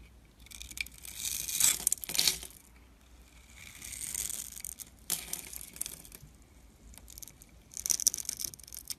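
A dark metal blade scrapes and cuts into a solid white bar of soap held in the hand, crumbling small soap chips off it. The sound is a series of dry, bright scraping and crackling bursts with very little low end, rising and fading in several waves with quiet pauses between them.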